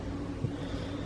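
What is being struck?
Nothing is struck.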